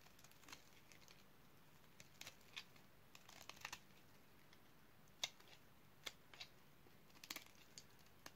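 A utility knife blade cuts crunchy cubes off a solid dark purple oval bar of dry soap. Short, sharp, bright crunches and clicks come at irregular intervals over a quiet, faint background hiss. The loudest snap lands just past the five-second mark.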